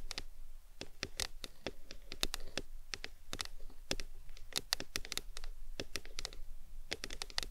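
Long nails tap and scratch the sides of a tall, printed aluminum Arizona drink can resting on a towel. Quick, bright clicks come in an uneven, rapid stream over soft scratching, and each tap dies away almost at once.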